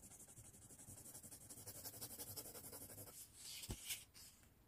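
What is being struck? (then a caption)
Paper sheet scraped by a colored pencil. A blue colored pencil shades across a thin white paper sheet resting on a wooden tray, held flat by one hand. About twenty quick, soft scratchy strokes rub back and forth for three seconds, bright and papery with a faint low rumble. A broader brushing swipe follows with a sharp tap before it fades out.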